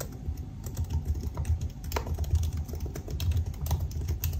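Both hands type with their fingertips on the black plastic keycaps of a silver aluminum laptop resting on a desk. The result is a steady stream of short, dull key taps, mostly low thuds with faint bright clicks, each dying away almost at once.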